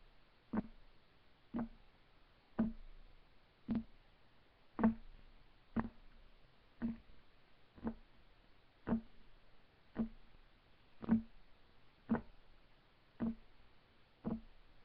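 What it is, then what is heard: Wooden table top. Fingertips of both hands tap on a solid, flat, light wood desk top. Fourteen short, dull knocks come roughly once a second, each with a low-mid woody tone that dies away almost at once.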